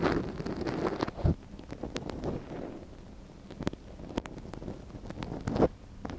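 A gloved hand holds a soft silicone ear model on a binaural microphone while the other hand scratches inside the ear canal with a wooden ear pick. Close, muffled rustling and scraping fill the clip, broken by sharp little clicks and crackles and a few louder thumps where the pick knocks against the silicone.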